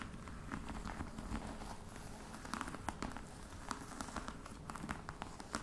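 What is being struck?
Faux leather covered box.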